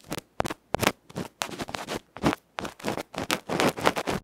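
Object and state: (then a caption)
Microphone capsule felt being scratched. A bamboo ear pick scratches the felt face of a small electret microphone capsule, a metal can with a felt cover, held in the fingers. Rapid, loud bursts of rough, crackly scratching follow one another with brief gaps, each strong through the mids and bright highs.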